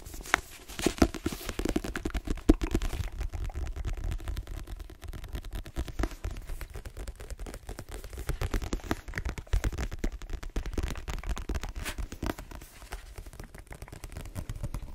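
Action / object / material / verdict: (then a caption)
tap / paperback book with card cover / paper, card / none. Long green nails rapidly tap and scratch the glossy card cover and spine of a solid, dark-cover paperback book. The sound is a dense stream of short, dull clicks and soft scrapes, weighted toward the low end with little brightness. The taps die away almost instantly.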